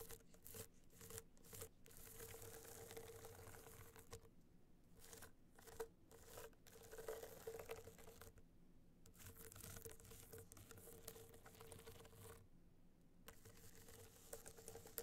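Long nails rapidly tap and scratch the surface of a small gold rhinestone-studded hard-shell clutch held on fur. The result is a dense, gritty scratching and crinkling texture broken by brief pauses, with a faint steady midrange hum underneath.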